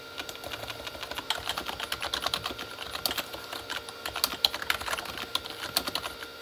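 Both hands type with their fingertips on a full-size Corsair K35 keyboard with red-backlit plastic keys. A steady, uneven stream of quick, dry, bright key clicks runs throughout, each one short with almost no low end. The result is a light, crisp, continuous typing clatter.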